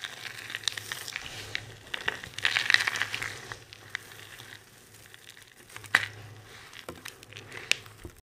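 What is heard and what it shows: A large pile of dry multicolored soap shavings is crushed and rubbed with both hands, making a dense, bright crackling and crunching rustle. The sound swells to its loudest crunch near the third second, then settles into quieter rustling broken by a few sharp snaps.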